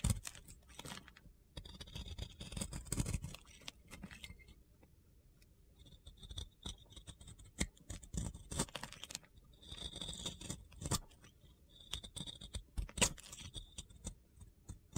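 A box cutter blade shaves crumbly dry soap from a solid, round, pink-glitter-coated soap held in the fingers. Bursts of crunchy, gritty scraping and light scratching alternate with quiet pauses, with bright, hissy highs over a soft low rumble.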